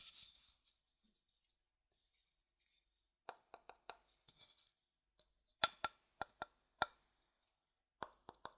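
A thin wooden stick stirs, scrapes and taps the inside of an empty, pale, hollow wooden bowl. Soft scraping and rustling gives way to a series of short, dry, clicky taps with a light hollow ring around 1.4 kHz and bright edges, each dying away almost at once, spaced irregularly.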